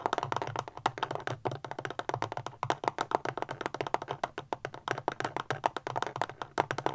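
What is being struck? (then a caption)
Small plastic powerbank casing. Long fingernails tap fast on a small, solid, rectangular black plastic powerbank standing upright. About 44 short, dry, clicky taps with a midrange knock come in a quick, uneven stream, each dying away almost instantly, over a faint low hum.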